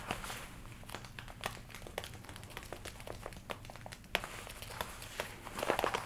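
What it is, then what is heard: Leather jacket scratched and crinkled. Long nails scratch and rub the shoulders and sleeves of a worn red leather jacket with black panels, with the arms crossed, crinkling the leather. Quiet, close crackles and soft rubbing run throughout, broken by many sharp, bright ticks and a low steady hum underneath.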